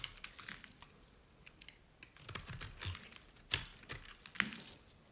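A utility knife blade cuts and scrapes thin strips from a solid green dry bar of Nevskaya Cosmetics soap. It makes irregular, crisp, bright crackling and scraping sounds. Two sharper snaps stand out near the end.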